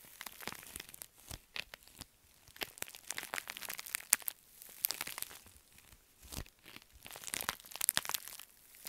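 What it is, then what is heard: Metallic foil bubble mailer. A pink metallic foil padded bubble mailer is crumpled in the fists, then scratched and tapped with long nails. Bright, crisp crinkles and crunches come in short bursts with quiet gaps between them, mostly in the high range with little low end.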